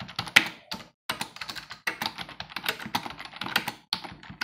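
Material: Plastic.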